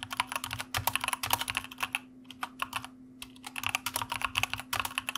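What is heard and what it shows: Fingertips of both hands type on a white plastic mechanical computer keyboard, producing quick, bright, clacky keystrokes in rapid bursts. The typing pauses briefly near the middle, then resumes, while a faint steady low hum sits underneath throughout.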